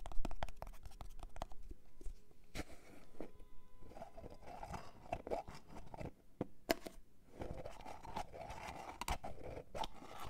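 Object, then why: Plastic jar of cream with screw lid. A medium white plastic jar of goat's milk moisturising cream, with a screw lid and hollow, likely filled with cream, is held in both hands. Long fingernails tap and scratch its lid, sides and label. The result is a dense run of short, dry clicks and crunchy scratches, mostly low in tone.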